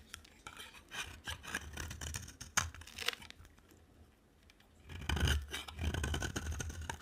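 A utility knife blade scrapes and shaves a dry, solid orange-rimmed bar soap with a white interior, and the flakes pile up below. Short bursts of dry, bright, crackly scraping come in quick runs with a brief quieter pause in the middle, then resume louder toward the end.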